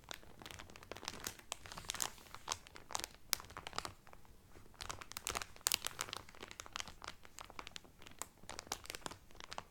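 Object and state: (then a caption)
Cellophane-wrapped cotton towel. Both hands crinkle clear cellophane wrapped over a flat cotton Carnival Cruise towel, working the film with fingertips and nails. The result is a steady stream of bright, dry crackles and sharp little snaps that die away instantly, bunching into louder flurries at moments over a quiet background.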